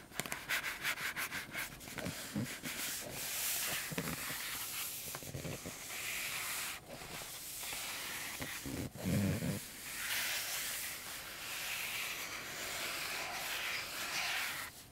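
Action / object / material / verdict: scrape / cardboard box / cardboard / none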